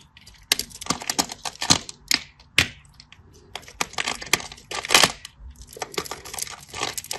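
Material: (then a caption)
Soap. A solid green bar of soap with a scored grid on its surface is held in the fingers and carved into small cubes with a craft knife. Many quick, bright scratching and crisp cutting clicks come in uneven bursts, with little low end and only brief pauses between strokes.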